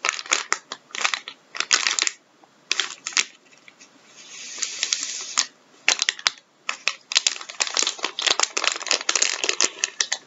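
A filled, blue plastic-film Andrex tissue packet on a wooden table is pressed, crinkled and squeezed with gloved fingertips, then lifted and squeezed in both hands. Bursts of bright, crackling plastic crinkles come in rapid clusters, with a softer sustained rustle in the middle and short quiet gaps between squeezes.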